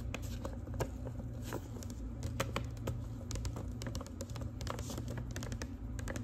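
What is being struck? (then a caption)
Manila paper envelope. Long pink acrylic nails tap and scratch across the surface of a large, thin, flat manila paper envelope. The result is a quick, irregular run of light, dry clicks and brushing scrapes over a steady low hum.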